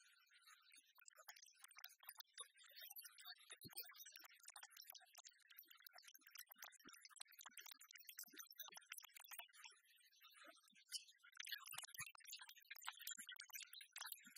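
A large, solid, flat, copper-colored metal "One Cent" penny replica is held up, then laid on a wooden table and tapped and scratched with long fingernails. Quick, dense, bright clicking taps and scratchy ticks patter on with almost no ring, quiet throughout and slightly busier near the end.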